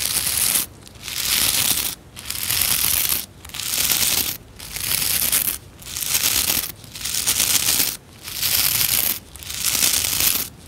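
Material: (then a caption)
Plastic. Fingertips and nails strum the stiff bristle tufts of a white plastic scrub brush with a solid plastic base, giving a bright, ratchet-like clicking. The strokes come in a steady rhythm of roughly one-second bursts, each separated by a brief quiet gap, with almost no low end beneath the crisp high rattle.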